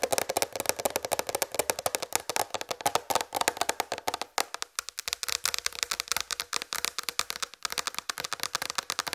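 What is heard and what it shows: Long red fingernails tap fast on a large white plastic tray, making a rapid stream of short, dry, clicky taps with a hollow midrange tone and bright edges. The taps die away instantly with no low-end body, and there are brief pauses around the middle and near the end before the tapping resumes.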